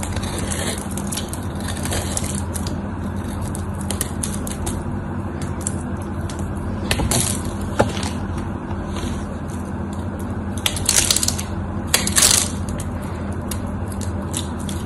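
A small metal blade scrapes and carves a solid, dried white bar of soap held in the hand, flaking off brittle chips, with another bar lying on the table nearby. Dry, crisp crackling and scraping rasps run over a steady low hum, with louder, brighter bursts around the 7–8 second and 11–12 second marks.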